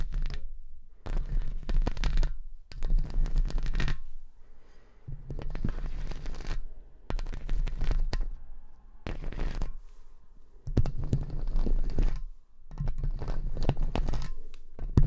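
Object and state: Metal microphone mesh grille.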